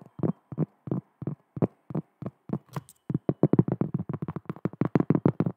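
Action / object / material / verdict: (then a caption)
tap / cork coaster / cork / none. Long fingernails tap and scratch across the face of a round, thin, solid cork coaster held in both hands close to the microphone. Dull, low, woody taps with almost no ring come in slow pairs at first, with a brief bright scratch near the middle. The tapping then turns quicker and denser to the end.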